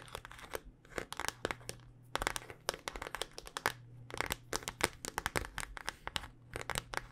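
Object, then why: Smartphone in a hard plastic case. A handheld smartphone in a solid black rugged hard-plastic case is tapped with long dark-painted nails. About 37 quick, sharp clicks come in uneven bursts, each bright and dry with almost no ring. A faint steady low hum runs underneath.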